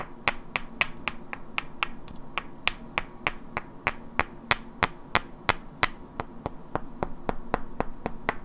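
Two identical hand-sized solid wooden cubes with black painted characters are held in both hands and knocked and clicked against each other, while long natural nails also tap their edges. About 29 sharp, dry clicks ring out at a steady, rapid pace, each one bright and dying away almost instantly. A faint steady low tone runs underneath.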